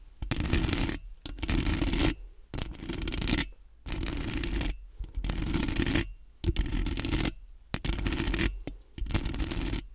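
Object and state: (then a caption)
Metal mesh microphone grille being scratched. Long nails on both hands quickly scratch the metal mesh grille of a large, round, hollow microphone. The result is repeated bursts of dense, rasping scratching with a heavy, boomy low rumble and bright, hissy noise on top, separated by short pauses.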